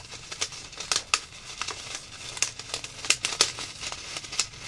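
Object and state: Plastic zip bag of foam beads.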